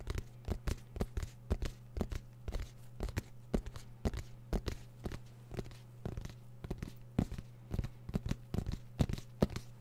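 Fingertips of both hands scratch and tap a small, black, fabric-covered, semi-rigid hard-shell zipper case, hollow and closed, held in front of the microphone. The result is a quick, irregular stream of dozens of short, dull, low-heavy taps with dry scratchy rustles between them, over a steady low hum. Each tap dies away almost instantly.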